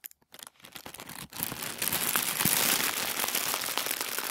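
Both hands crumple and squeeze thin white tissue paper into a fist-sized ball. A few sparse, soft crackles build into dense, continuous bright crinkling that stays steady to the end.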